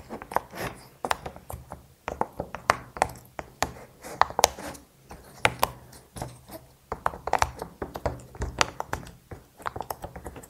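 Fingertips press the hollow bubbles of a small square rainbow silicone pop it fidget toy, empty but with a little leftover plaster dust, popping them in and out. The result is an irregular run of short, dry popping clicks, each centered around 800 Hz with a bright edge. Every pop dies away almost instantly, with quiet pauses between them.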